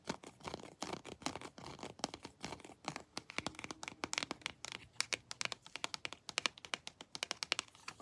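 Long blue nails tap and scratch over a plastic Predator action figure, working across its foot soles and textured limbs. A rapid series of short, dry, bright clicks and scratchy rasps is heard, each stopping almost instantly with no ring.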